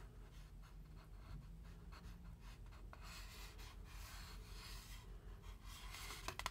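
Fingertips slowly rub and scratch along the printed side wall of a large styrofoam drink cup held up without a lid. The result is a quiet, steady, dry squeaky-scratchy rustle with brighter bursts of friction over a low rumble, ending with a couple of sharp little ticks.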